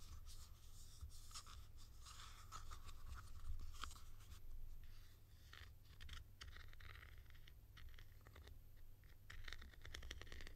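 A hollow blue plastic cap with a ridged white insert, held in hand, is tapped and scratched with long nails. Quiet, dry scratching mixes with quick, crisp clicks that carry a bright edge, all over a steady low hum.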